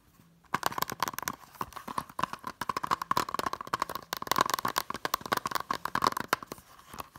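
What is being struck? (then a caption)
Plastic Blu-ray keep case. Long nails tap quickly along the top edge and then the back cover of a small, hollow blue plastic Blu-ray keep case. After a brief silence, a dense run of short, dry clicks begins, each with a hollow plastic tone around 1 kHz and almost no ring. The tapping is quick and uneven in loudness and continues to the end.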